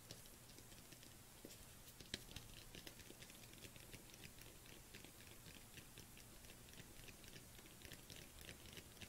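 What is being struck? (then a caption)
Plastic supplement tub. A dark plastic collagen supplement tub is cupped in both hands while long nails tap and scratch its surface. Quick, light, bright clicks and scratchy rustles run steadily over a soft low hum, with one sharper tap standing out near the start.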